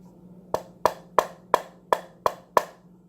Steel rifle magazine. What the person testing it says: it almost sounds pretty solid